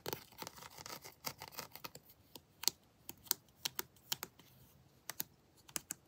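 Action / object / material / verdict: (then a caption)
tap / molded plastic action figure / plastic / none. Long blue acrylic nails tap and scratch the arms and armor of a hand-sized, detailed molded plastic/vinyl Predator action figure held in the hand. A quick run of dense, bright scratchy clicks gives way to sharp, separate taps. The taps are dry, high, and clicky, with almost no ring or low end.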